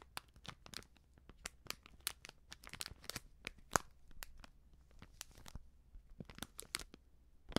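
A small, filled, sealed plastic-foil baking soda sachet is held up and crinkled and scratched with long nails. A quiet, steady run of sharp, bright crackles and dry scratches comes through, each snapping off almost instantly over a faint low hum, with one louder crunch partway through.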